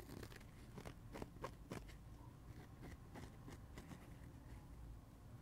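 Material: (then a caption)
Foam. Fingernails scratch a dry printed foam kids' sponge, working over both its blue porous cellulose side and its yellow printed face. The result is a quiet run of short, dry, crunchy scratches with brief bright streaks over a soft low rumble, each one stopping almost instantly.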